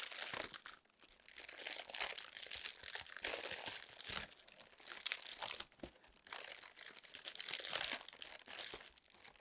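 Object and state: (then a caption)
Plastic air cushion packaging. A sheet of inflated clear plastic air-pillow packing film is held in both hands while long nails squeeze, scratch and crinkle it. The result is a continuous bright, crackly crinkling that swells and fades in waves, with sharp clicks and almost no low end.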